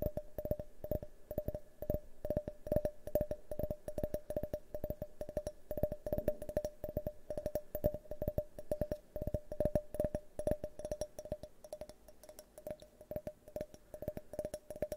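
An empty, hand-sized, hollow, multicolored tinted glass drinking tumbler is held tilted close to the microphone and tapped rapidly with fingernails. The result is a dense, irregular stream of short, dry clicks, each with a faint glassy tone around 600 Hz that dies away almost instantly, with a bright edge on every tap.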